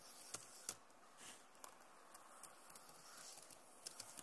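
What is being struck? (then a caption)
Plastic laptop keyboard keys. Long nails tap and scratch across the plastic keys of a backlit Acer laptop keyboard. About nine sharp, bright clicks stand out over a soft, continuous high scratching hiss. Each tap dies away almost instantly, and the whole clip stays quiet.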